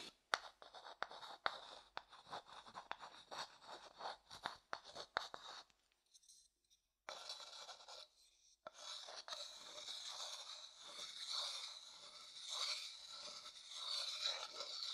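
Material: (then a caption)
Wood. A thin wooden stick scrapes and taps the inside of a medium, hollow, empty light wooden bowl held upright. Quick, dry taps mixed with short scratches fill the first half, followed by a brief pause. Then a steady, bright, rasping scrape runs to the end.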